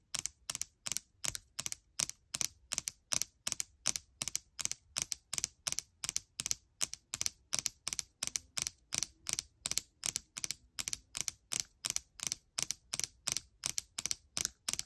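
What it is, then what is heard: Laptop keyboard with plastic keys. Long nails rapidly tap the plastic keycaps and the edge of the palm rest on a gold MacBook Air keyboard. The result is crisp, bright, high-pitched clicks in steady, quick bursts, about two per second, each dying away instantly with no ring.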